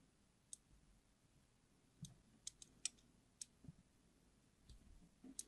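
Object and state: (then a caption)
Glycerin soap bar being carved. A small metal blade scrapes thin diagonal grooves across the surface of a solid yellow translucent glycerin soap bar held in hand, in a repeated scratch-and-carve motion. The result is a series of quiet, sharp, bright clicks and scratches at irregular intervals over a low background hush.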